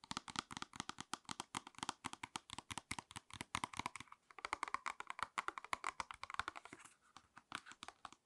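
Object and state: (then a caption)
Cardboard and plastic blister pack tapped with nails. Long red acrylic nails tap and scratch across a small retail pack of false eyelash clusters, a printed cardboard backing card with a clear plastic blister tray held in both hands. Rapid, crisp, bright clicks run steadily throughout, mixed with light crinkling scrapes of the plastic, with brief lulls around the middle and near the end.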